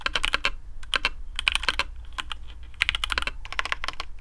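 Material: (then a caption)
PBT plastic. Fingertips of both hands type on a black custom AARU mechanical keyboard with TTC Speed Silver switches, PBT plastic keycaps, a carbon fibre plate and a hollow case. Rapid, bright, clacky keystrokes come in uneven bursts, each tick short and sharp with a faint low thump beneath.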